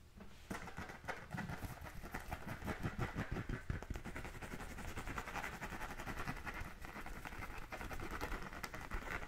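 A full-size, pebbled brown composite-leather American football with white stripes, hollow and inflated, is held in one hand and scratched with the fingernails of the other. Rapid, dense scratching runs continuously for about nine seconds, with a hollow low thump under crisp, bright, gritty rasps from the pebbled surface.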